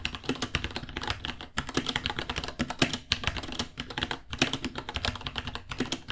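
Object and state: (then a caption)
Plastic mechanical keyboard. Both hands type with the fingertips on a small white 66-key mechanical keyboard with Gateron Brown switches, white plastic keycaps, a hollow case and pink underglow, resting on a white desk. A fast, steady stream of short, crisp plastic key taps clatters with bright high clicks over a low, hollow thock, with brief pauses between bursts.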